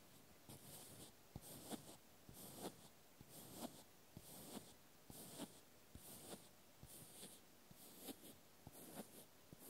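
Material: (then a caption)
Plastic. A small white plastic clothespin held in the hand is tapped and scratched with the fingertips. Soft, quiet clicks and bright scratchy rasps repeat in a loose, unhurried rhythm, about once a second, with short dull knocks in between.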